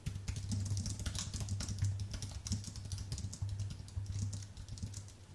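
Fast fingertip typing on a white Apple full-size keyboard with an aluminium base and plastic keys produces a dense stream of light, bright clicks and taps. A steady low hum runs underneath the typing throughout.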